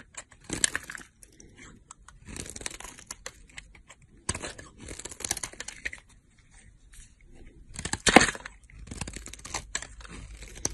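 A utility knife blade scrapes and cuts thin, crumbly slices from a solid green olive soap bar. Dry, bright scraping and crackling comes in short bursts separated by brief pauses, with a louder, sharper crunch near the end.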